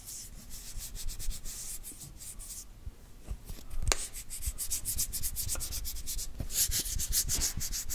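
Fingertips rub and scratch over the printed lid and side of a small, round, hollow plastic cosmetic tub. The result is a steady run of bright, hissy scratching strokes, with a few sharp clicks along the way.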